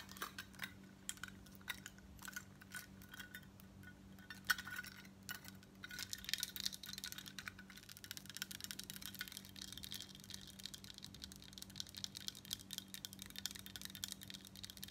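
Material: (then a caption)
Metal. Long nails tap and scratch the plate of a large embossed gold-tone metal crescent bib necklace worn on the chest. The result is quiet, bright, short metallic clicks over a faint steady hum. The clicks turn into a denser, continuous scratching texture from about six seconds on.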